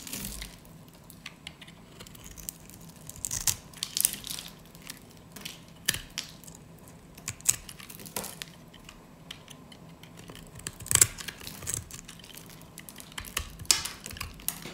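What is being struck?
Soap bar cut with a metal blade.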